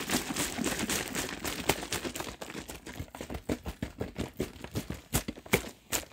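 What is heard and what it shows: A large plastic drink bottle, partly full of liquid, is held in the fingers while its hollow plastic body is squeezed, crinkled and shaken. A dense, bright crinkling fills the first half, then breaks into sharper, separate crackles and pops that end quickly with no ring.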